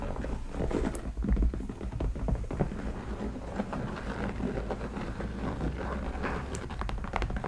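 Long dark nails scratch and tap the hollow shaft of a tall black leather cowboy boot with white stitched embroidery, held upright beside the mic. The result is a steady, dense patter of soft, muffled scrapes and light taps, heavy in low tones with very little brightness.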